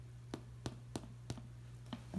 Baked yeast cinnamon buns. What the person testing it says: if you can hear that hollow sound